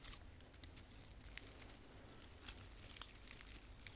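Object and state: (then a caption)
Artificial plastic pine branch. Long painted fingernails rub and scratch a small frosted artificial fir branch with plastic needles. The result is a quiet, dry crinkling and scratching with bright, crisp ticks over a soft low rumble, and a few sharper snaps stand out from the steady rustle.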